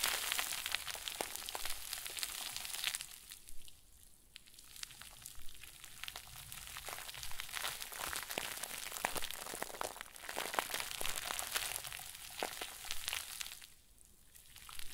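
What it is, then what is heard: Plastic bag crinkle ball being squeezed. A round white plastic bag stuffed into a crinkle ball is crushed and squeezed between the fingers of both hands. It gives a dense, bright crinkling crackle of rapid sharp snaps, easing to quieter rustling around four seconds and again near fourteen seconds before picking back up.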